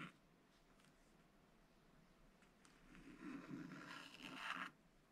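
A wooden stylus scratches the black coating off a thin sheet of black-coated rainbow scratch paper in an open spiral scratch book, drawing a chick's round head outline in continuous strokes. After a near-silent start, a soft, papery scraping rises in the second half, grows brighter and louder toward the end, then stops abruptly.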